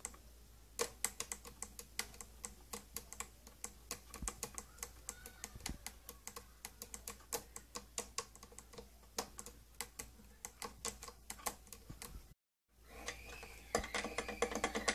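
Long nails tap rapidly on the domed top of a closed, hollow, glossy purple plastic tattoo kit case, making a steady stream of short, bright, dry clicks. After a brief silence near the end, the tapping resumes louder and denser.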